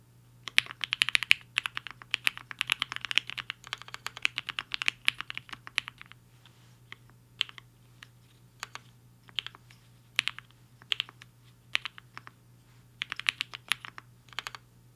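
Fingertips of both hands type fast on a compact HI-FINGER 7.5 mechanical keyboard with a black case and white and pink plastic keycaps, resting on a desk mat. A dense run of bright, short plastic clacks fills the first six seconds, then the keystrokes come sparser and scattered before another quick flurry near the end, all over a faint low hum.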